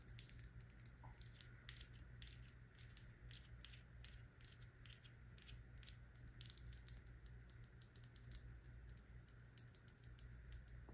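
A small dark-blue glass Kiehl's serum bottle with a black dropper cap, filled with liquid, is held in the hand and tapped and scratched with long nails. Quick, light clicks and scratchy ticks run throughout over a steady low hum.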